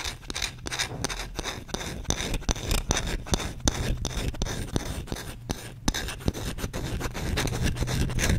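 A solid wooden spoon held in the hand has its bowl scratched quickly and aggressively with short nails and fingertips. The result is a steady run of dry, rasping scrapes with short bright strokes in an irregular rhythm. A low handling rumble sits underneath throughout.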